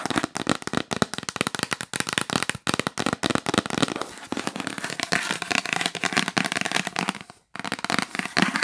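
Long nails tap fast across the lid and along the top edge of a hollow, yellow printed cardboard box. The result is a dense stream of dry, crackly clicks with bright, papery texture and almost no ring. The tapping pauses briefly near the end, then resumes.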